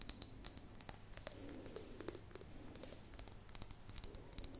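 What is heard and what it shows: An empty, hollow clear glass mason jar cupped in the hands is tapped and scratched with long fingernails. Many quick, light taps and soft scratches follow in a rapid patter. Each stroke carries a faint, bright, high glassy ring over a quiet hiss.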